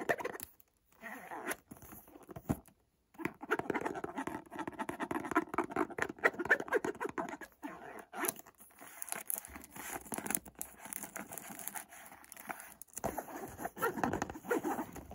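Fingertips tap and pat on the front of a small, hollow white Montblanc cardboard perfume box. The result is a dense run of soft, dry, papery taps with a hollow ring, broken by a few short silences and brief scratchy passages.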